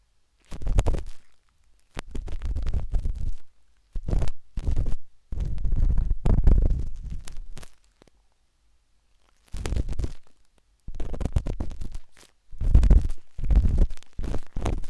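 A metal-tipped dot stick with a wooden handle scratches inside the soft, hollow canal of a pinkish-white silicone ear on a binaural microphone. It makes bursts of deep, muffled, rumbling scratching, almost all low in pitch, separated by short silent pauses.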